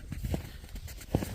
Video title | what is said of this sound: НАЛИМ на стук | пустотелые внутри шумовая штучка В общем если постучать слышно